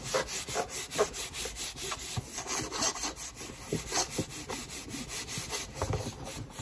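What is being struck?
Cardboard shoebox.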